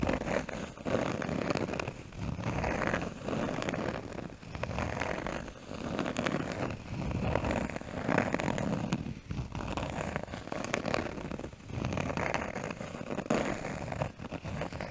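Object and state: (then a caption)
Cork piece. A small, brown, rounded piece of cork is held against a microphone and scratched and tapped with fingernails. This makes a continuous, dense, low-mid crackling and rustling texture with many soft taps, and it swells and fades in waves over the clip.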